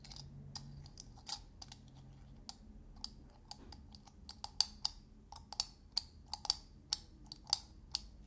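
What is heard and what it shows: A small glass salt shaker with a domed metal screw lid is held in one hand while fingertips and nails tap and twist the metal lid. About twenty quiet, sharp, bright clicks and ticks come at an irregular pace, growing somewhat louder toward the end. Each one is dry and dies away almost instantly.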